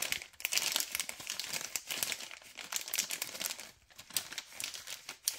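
A thumb and fingers crinkle the other side of a white LDPE plastic bag of cable ties, a packet printed "organize wires... Robovac." The result is a steady run of bright, crackling plastic crinkles with almost no low end. It eases briefly near the four-second mark before a few sharper crackles at the end.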